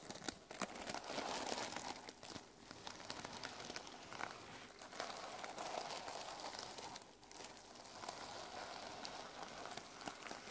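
Long nails and fingertips scratch and brush across the teal plastic sequin cover of a small notebook resting on a wooden table. The result is a steady, dense crinkling and rustling with bright, sharp clicks and almost no low end, dipping briefly at a few points before continuing.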